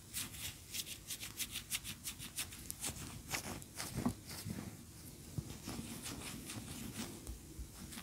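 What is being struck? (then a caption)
Wax pillar candle. Long nails scratch and tap the sides and top of a large, cream-colored, solid wax pillar candle standing upright on a towel. Quick, bright, scratchy strokes alternate with soft, dull taps that die away almost instantly. The sound stays quiet and close throughout, with a faint low rumble underneath.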